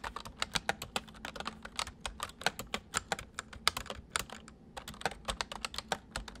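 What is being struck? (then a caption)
Plastic mechanical computer keyboard. Fingertips of both hands type on a white full-size plastic mechanical computer keyboard, producing a quick run of about 34 sharp, bright clicks that stop almost instantly. The keystrokes come in uneven bursts with short pauses, over a faint steady low hum.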